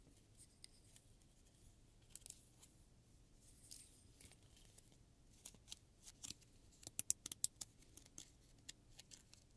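A wooden stick scrapes and taps along the long stiff teeth of a solid, hand-sized blue plastic afro pick, then fingers strum the teeth. Quiet, bright, dry ticks and clicks come at an uneven pace over a faint hiss, with a sharper, louder cluster of plucks near the end. Each click cuts off almost instantly.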